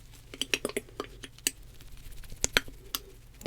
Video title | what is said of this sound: [ASMR] Worst Reviewed Lash Tech Ruins Your Lashes ⭐️ - Soft Spoken | Do you hear it sloshing around in there?